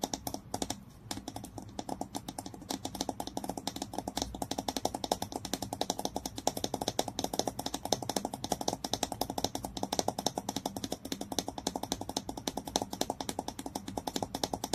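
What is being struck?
Glass bottle with plastic screw cap.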